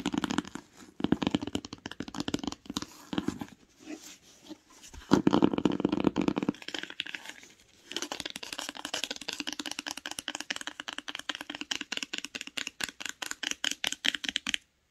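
Long nails tap a grey and beige cloth-bound hardcover book, first on the cover, then on the spine. Dry, muted taps and scratchy brushing come in uneven bursts, loudest around five to six seconds, with a low-mid thump. From about eight seconds the taps become a steady, rapid rhythm until they stop just before the end.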